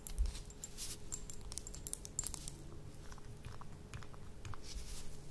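Long nails tap and scratch on a small, apparently empty glass dropper bottle with a metal cap. The result is a quiet stream of quick, crisp ticks and bright scratchy clicks over a steady low hum.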